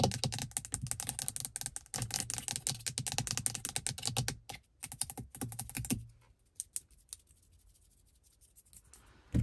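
Long pink acrylic nails tap and scratch quickly on a car's interior rearview mirror, a medium-sized, solid glass mirror in a black plastic housing. Dense, crisp clicking with a steady low hum continues for about six seconds. It then thins to a few scattered taps over near silence.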